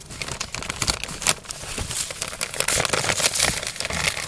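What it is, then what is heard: Paper bag being crumpled. An empty brown kraft paper fast-food bag is crumpled, folded and rubbed with fingertips in both hands. Dense, bright crinkling and crackling fill the clip, with sharp rustling bursts and very little low end.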